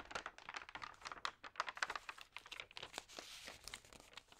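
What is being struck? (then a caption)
Paper magazine. Fingertips and long nails rub, crinkle and turn the thin pages of a large open magazine lying on a table. The result is a quiet, dense stream of crisp, dry crackles and rustles, bright and papery with almost no low end, each snap dying away almost instantly. Near the end, a softer, steadier swish of paper sliding is heard.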